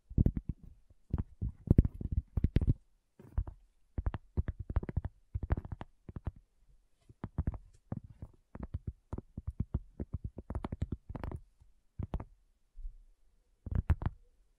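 Long fingernails of both hands tap on a round, flat, solid cork coaster. The result is rapid bursts of soft, dull, low taps with very short decay and brief pauses between clusters.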